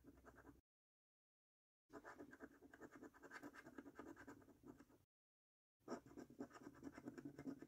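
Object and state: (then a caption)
Scratch card being scratched with a coin. A coin scratches the latex-coated circles on a £25 "5x £1 Million Prize Portal" National Lottery paper scratch card. It makes dry, rasping scrapes centred in the low mids, in three bursts separated by short silences. The final burst is the loudest and most rapid.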